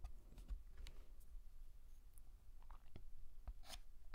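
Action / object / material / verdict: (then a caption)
scrape / chalk on a painted blackboard / chalk / none. A hand draws the letter M with a stick of white chalk on a large, flat, black painted chalkboard. Short, dry scratches and brief bright taps come as the chalk strokes and lifts, over a quiet, steady low rumble.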